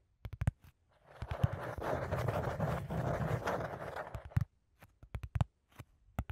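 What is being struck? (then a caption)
Corrugated cardboard sheet. A flat, thin brown corrugated cardboard sheet with hollow flutes, held upright in front of the microphone, is scratched with fingertips and nails. A few short taps give way to a steady, dull scratching rasp lasting about three seconds. Scattered soft, low, knocking taps and scrapes follow.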